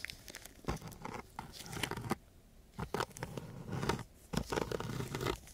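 A thin wooden craft stick is scratched across a coarse, gritty sheet of sandpaper lying flat. Short bursts of rough, dry scratching come in uneven strokes, with brief pauses between groups. The texture is broad and crackly, from low rumble up into bright grit.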